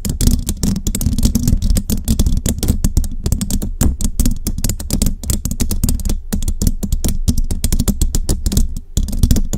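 Long rhinestone nails on both hands scratch and tap rapidly across a hollow metal mesh microphone grille. Dense, fast clicking taps and raspy scratches run continuously, each landing with a heavy, boomy low thump under a thin, bright tick that dies away almost at once.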